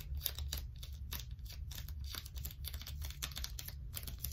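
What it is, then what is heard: Sticky plastic tape being peeled. A wad of blue plastic sticky tape is held in both hands while long stiletto nails peel it apart and press it back together. The result is a steady run of quick, bright crackling and sticky peeling ticks over a constant low rumble.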